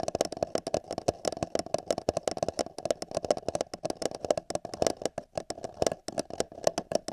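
Fingertips and nails tap and scratch the wall of an empty, hollow paper cup held over a binaural microphone ear. Rapid, irregular dry taps with bright clicky edges carry a hollow resonance in the mid range, with soft scratching between them.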